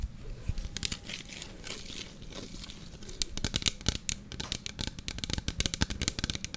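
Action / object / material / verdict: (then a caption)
scrape / small clear plastic bottle / plastic / none. A small clear plastic bottle with a lime-green plastic cap and label, apparently mostly empty, is held in both hands and tapped and scratched along its sides with fingertips and nails. A soft, low, continuous scratching rustle plays for the first three seconds, then gives way to dense bursts of sharp, bright crinkly taps that die away almost instantly.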